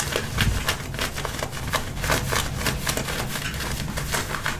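Fingertips and nails scratch and rub the waistband and hip pocket area of worn dark-wash denim jeans. The result is a steady run of dry, rasping strokes with bright scratchy texture over a soft low rumble.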